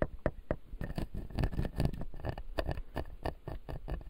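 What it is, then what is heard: Plastic dental model with resin teeth. Fingertips tap and scratch the upper front teeth of a clear acrylic dental model with white resin teeth. The sound is a quick, uneven run of soft, dull clicks and brief scrapes with no ring. Most of it sits in the low range.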